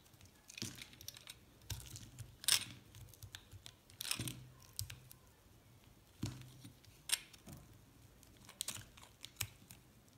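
A metal blade scrapes along the edge of a thin slab of pink and white recycled soap. It makes a series of crisp, dry, bright scraping and crackling bursts of uneven loudness, with a faint low hum underneath.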